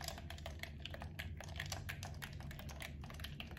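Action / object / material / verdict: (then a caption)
tap / plastic game controller / plastic / none. A hollow, blue camo PS4-style plastic gamepad is held in both hands while thumbs and fingertips press its buttons and sticks. The result is a rapid, continuous run of soft, bright plastic clicks and taps that die away quickly, over a steady low hum.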